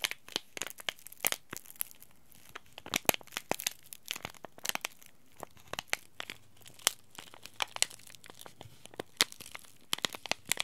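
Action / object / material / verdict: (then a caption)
scrape / laminated plastic-foil tea bag packet / plastic foil / none. A small green laminated plastic-foil tea bag packet lying in the palm is scratched and rubbed by fingertips and short nails. It produces dense, quiet, bright crinkles and dozens of sharp, dry crackles at irregular intervals, each dying away almost instantly with little low end.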